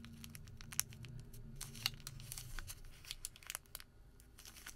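A small folded white thermal paper receipt of thin paper is pinched, bent and crinkled between the fingertips of both hands. The result is a run of sharp, bright crackles and ticks over a low, steady hum that fades out about halfway through.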